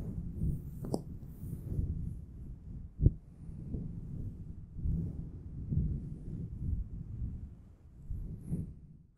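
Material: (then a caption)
Faux fur. A grey, fluffy, round faux fur windscreen covering a Blue Yeti microphone is scratched and rubbed with the fingertips of both hands. The result is a soft, muffled, low rumbling and brushing noise that swells and fades in waves, with a few sharper thumps.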